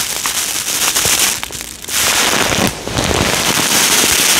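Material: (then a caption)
Polystyrene foam. A small clear plastic bag with a cardboard header label, full of small yellow polystyrene foam beads, is held in both hands and shaken close to the microphone so the beads rattle against each other and the bag. The result is a dense, bright, crackling rattle with little low end. It dips briefly quieter twice before continuing steadily.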